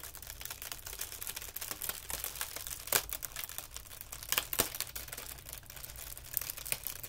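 A thin, crinkled white tissue paper sheet is held between the fingertips of both hands and stretched and pulled apart over carpet. It makes a steady, bright, dry crinkling with dense rapid crackles and a few louder sharp snaps, over a faint low hum.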